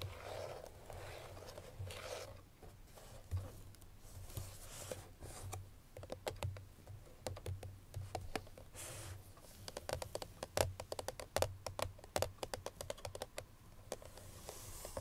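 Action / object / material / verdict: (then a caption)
tap / paperboard perfume box with a bottle inside, tapped with fingernails / paperboard / none. Long nails tap on the front face of a hollow cream paperboard Chloé perfume box that still holds its bottle. The quiet, crisp clicks come in irregular runs with a hollow low thud and a papery mid-range tone, growing denser and sharper in the second half.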